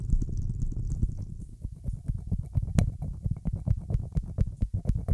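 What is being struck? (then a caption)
Corked glass test tube. A small, mostly empty hollow glass test tube with a cork stopper is held horizontally just above a microphone and tapped with long acrylic nails. The first second is a dense, muffled low rumble, then it breaks into quick, dull, short taps with deep thumping bodies and faint bright clicks on top. Panning and echo effects make the taps seem to move and linger slightly.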